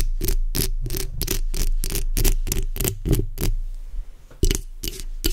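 The backs of long acrylic nails scratch along the sides of a black microphone's hollow metal mesh grille. A quick run of rasping strokes, each a bright, hissy sweep over a heavy low rumble, pauses briefly, then returns for a few more.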